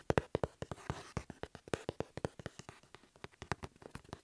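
Fingertips and nails tap and scratch across the paper shipping label of a medium hollow cardboard shipping box lying flat on a table, with an earphone mic cable resting on top. About 28 quick, dry taps with a hollow mid-pitched knock come in an uneven rhythm. A soft papery scratch runs between them, and each tap dies away almost instantly.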